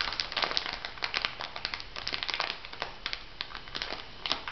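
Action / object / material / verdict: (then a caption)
scrape / clear plastic packet filled with granules / plastic / none. An elongated clear plastic packet filled with white granules is pressed and rubbed with fingertips and nails. It gives a steady, bright crinkling texture with many sharp crackles and quick rustles that stop almost at once, with little low end.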